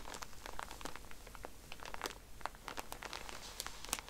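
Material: Plastic film.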